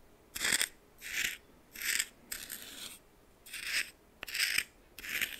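A red plastic spoon stirs coarse salt in a small bowl, making seven bright, gritty rasping strokes with short quiet gaps between them. The sound is crisp and high, with almost no low end, and some strokes begin with a sharp tick.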